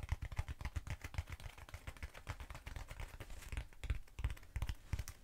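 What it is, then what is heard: Hollow foam cylinder. Long nails tap rapidly on both sides of a short, hollow black foam cylinder held upright. The taps come in a quick, uneven patter, each a dull, low thud with a faint bright click that dies away almost instantly.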